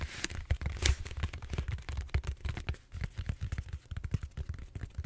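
Fingertips and short nails scratch the bumpy surface of a large, solid purple styrofoam foam roller held horizontally. The result is a dense run of quick, dry scratches and squeaky rubs over a low, rumbling thump, with a few brighter, sharper bursts standing out.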